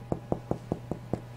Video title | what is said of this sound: how to make rolls | my bread is done the way I can tell is when you thump it